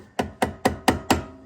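A rubberized mallet taps on the metal engine stator cover of a 2008 Honda TRX500FM to loosen it, giving five short, dull knocks with a mid-pitched tone around 262 Hz and a brief decay. The sound changes as the cover loosens, and a gap forms showing the cover has come loose.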